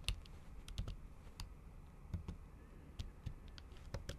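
Fingertips with long acrylic nails tap the keys of a MacBook keyboard covered by a thin, flat pink printed plastic or silicone cover, the keys sitting over the hollow laptop body. About a dozen soft, uneven clicks each give a short, dull low thump with a brief bright tick, over a quiet background.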